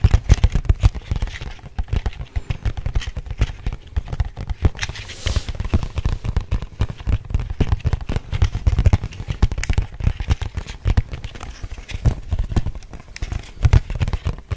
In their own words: 4:04 Tapping On Plastic Packaging